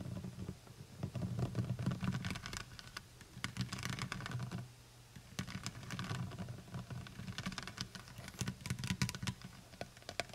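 Long white nails tap rapidly on the sides of a full plastic honey bottle held in both hands. The taps are quick, light and clicky with bright, very short ticks, and a steady low hum runs underneath. The tapping pauses briefly near the middle before picking up again.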